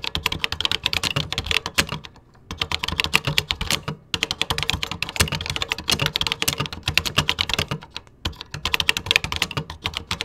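Fingertips type quickly on the beige plastic keys of a vintage 1980s home computer keyboard. Rapid, bright, dry clicks run in bursts, with brief pauses between runs.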